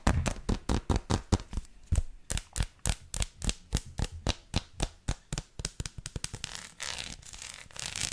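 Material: Chocolate.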